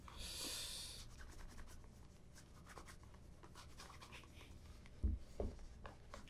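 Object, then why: Leather ankle boot rubbed with a soft cloth. A black polished leather ankle boot, hollow and empty, is held in one hand and rubbed with a soft cloth wrapped over the fingertips. A bright, hissy swipe opens the clip, followed by quieter, irregular scratchy rubbing strokes. Two short, dull thumps sound near the end.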